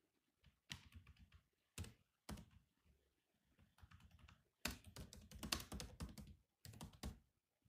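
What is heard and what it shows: Fingertips of both hands type on the black plastic keys of a grey laptop keyboard. Quick bursts of dry, bright clicks with soft low thumps come in uneven runs separated by brief pauses. Each tap dies away almost at once.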